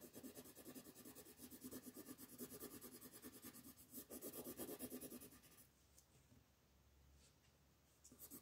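A red colored pencil rubs quickly back and forth on a flat paper coloring sheet lying on a table, shading in a football. Dense, rhythmic scratchy strokes with a soft bright rasp run for about five and a half seconds, then stop, leaving a quiet stretch before a few brief strokes return at the end.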